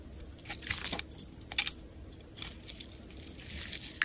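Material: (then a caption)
Soap. A solid, palm-sized yellow bar of soap is held in the hand and scraped and shaved with a metal knife blade, carving crumbly curls from its surface. The clip is a run of soft, dry, crunchy scraping strokes with bright, crisp texture and short bursts that stop quickly, rising to a sharper scrape at the very end.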